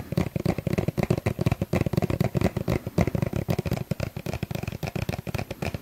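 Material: Plastic.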